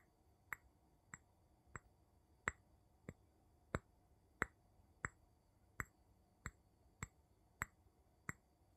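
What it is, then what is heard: Glass jar. The tip of a wooden pestle-like tool taps an empty clear glass jar with a gold metal lid, held on its side in one hand, near the glass bottom. Thirteen short, bright, glassy clicks with a pitch near 1.9 kHz come at uneven intervals over a faint hiss, each dying away almost instantly.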